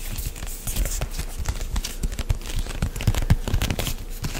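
A medium white plastic CeraVe lotion pump bottle, hollow and apparently filled, is gripped, squeezed and lightly tapped with fingertips and nails close to the mic. It makes a steady run of soft, low, dull thumps mixed with crinkly scratching and quick, dry, bright clicks that stop at once.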